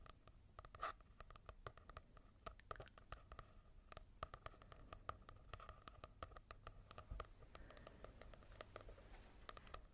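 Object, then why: Paper book with matte cover. Fingertips tap and scratch across the matte cover of a manga book in a rapid, irregular stream of light, dry clicks and soft scraping. Each tap dies away almost instantly with no ring, over a faint steady tone near 1.2 kHz.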